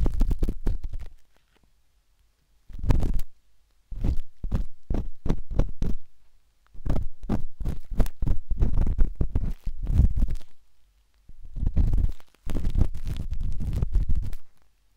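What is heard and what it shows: A metal-tipped dot stick with a wooden handle scratches inside the soft, hollow canal of a pinkish-white silicone binaural microphone ear. The result is bursts of close, muffled, low thumping scratches and rapid tapping, with short silent pauses between them.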